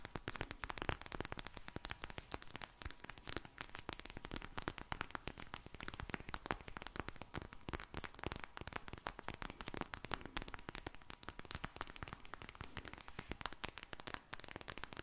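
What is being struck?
Vinyl eye mask filled with gel beads.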